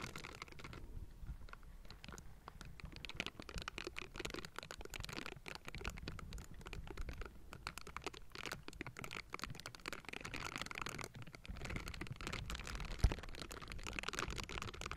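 Pink bristled silicone gloves cupped around a Blue Yeti microphone scratch its hollow metal mesh grille. The result is a dense, continuous run of crackly, rustling scrapes with a heavy low-end rumble and bright edges, plus one sharper tap near the end.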